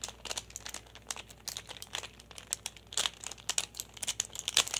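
A small hand-held plastic pyraminx, a solid pyramid puzzle with coloured stickers, is tapped and turned with fingertips and nails. A fast, irregular run of sharp, bright clicks and crinkly scratches follows, with each tick dying away almost instantly and almost no low end.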